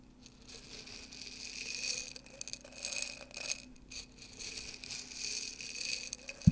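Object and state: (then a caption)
Glass jar of dry popcorn kernels. Fingers with long nails dig and stir through dry popcorn kernels in an open, partly full clear glass jar. The kernels rustle and clink against the glass in a continuous, bright, rattling scrape that swells and fades in waves. A sharp click lands near the end.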